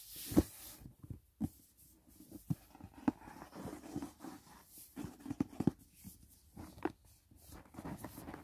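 Fingertips lightly tap the closed lid of a hollow white rigid cardboard gift box resting on grey bedding. The taps are soft, short and hollow, with a low-mid body and almost no ring, separated by quiet rustling between them.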